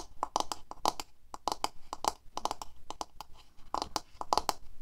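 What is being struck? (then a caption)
Plastic paddle hairbrush. Long fingernails on both hands quickly tap the handle and back of a medium black paddle hairbrush with a hollow plastic handle and body and plastic bristles, lying on a table. The result is a rapid, uneven patter of short, dry clicks with a hollow tone around 850 Hz and a bright edge, each dying away almost at once.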